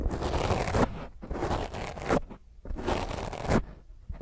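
Long fingernails scratch hard across a soft, porous black foam microphone windscreen. Three long bursts of rough, crackling scratching fill the range from a deep rumbling thud up to bright hiss, separated by quieter gaps with faint rustling before a short scrape at the end.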